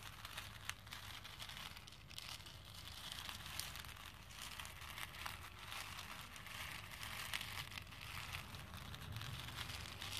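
A hand with dark-painted medium-length nails stirs and rubs through a pink plastic bowl full of small cream and pink plastic faux pearl beads. The beads make a steady, dense, bright clatter and crinkle throughout, with a faint low hum underneath.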